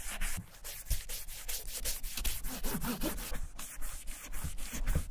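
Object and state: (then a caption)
Leather satchel bag. A gloved hand rubs dye remover over the surface of a large, hollow, German vintage leather satchel using a cotton ball held in metal tweezers. It makes a steady run of quick back-and-forth scrubbing strokes, each a brief bright swish over a low, dull body.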